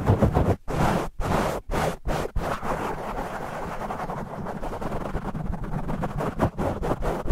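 Short nails and fingertips of both hands scratch a black foam microphone windscreen, with the audio sped up 2x. It makes a dense, low, rumbling scratch with little high content. Choppy bursts separated by brief silences give way to a steady stretch of rubbing, then turn choppy again near the end.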